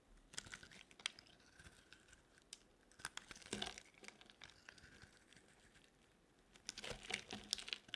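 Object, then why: Bar of soap cut with a metal blade. A metal blade cuts and scrapes broad shavings from a solid green bar of dry soap held in the hand. It makes quiet, crisp, bright crunching and crinkling scrapes in irregular bursts, with denser bunches of scraping near the middle and toward the end.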